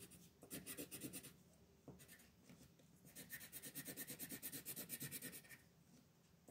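A green colored pencil scratches and rubs back and forth across a flat paper coloring page while filling in the background. Rapid, bright, scratchy strokes come in two bursts, a short one early and a longer, steadier run in the middle, separated by quieter soft rubbing.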